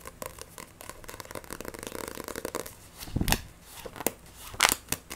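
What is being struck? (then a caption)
Paperback book with glossy paper cover. Long nails tap and scratch rapidly across the glossy cover and spine of a solid Black Butler paperback manga book, with fast, aggressive gripping. Dense, dry clicking and scratchy rustling fill the first half, then louder, brighter scrapes and grabs burst out near the end, each cut short with almost no ring.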